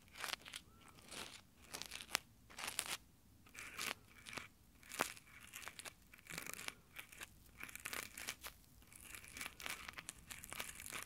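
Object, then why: Textured nylon gloves on a metal microphone grille. Fingertips in textured nylon exfoliating gloves scratch and rub directly over the metal mic grille of a handheld Tascam recorder. The result is close, crunchy fabric friction in irregular bursts of bright, crinkly scratching, with sharp clicks and almost no low end.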